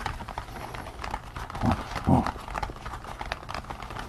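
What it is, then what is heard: Latex rubber pig mask. Fingertips scratch and tap the ears and crown of a pink latex rubber pig mask worn on someone's head. A steady run of soft, dull rubbery taps and scratchy rustles is heard, with two louder, deeper squishy thumps in the middle.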